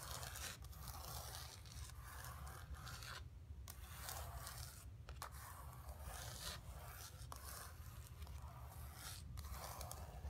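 Long pink nails scratch across the surface of a flat painted canvas board lying on carpet. The result is a steady run of dry, raspy scraping strokes, with bright scratchy texture over a constant low rumble and brief pauses between passes.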